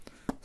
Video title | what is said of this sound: ASMR Retour de Courses | Et on va finir avec un petit tapotement de boîte. Ça sonne pas dur. Ça c'est pas dur la boîte.